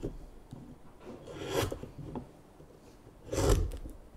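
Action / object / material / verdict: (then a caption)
scrape / basswood spoon blank / basswood / none. A small knife scrapes and shaves the neck of a solid, light basswood spoon blank lying on a mat. Soft, dry rasping strokes swell into two louder, breathy shaves with a bright hiss and a low thump, with quieter scraping in between.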